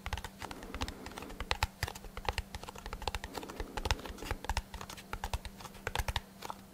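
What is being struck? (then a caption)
Small cardboard box. A small, hollow brown kraft cardboard box held beside the microphone is tapped with fingertips and short nails in a quick, uneven patter. Each tap is dry and short, with a low hollow thump and a bright clicky edge. A faint steady hum runs underneath.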